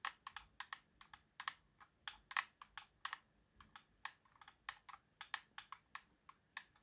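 Fingertips tap and click the face buttons and thumbstick of a white plastic Xbox game controller with a hollow, hand-sized shell. About 27 quick, dry plastic clicks come in an uneven, typing-like rhythm. Each is a bright, quiet, short tick with almost no low end that dies away at once.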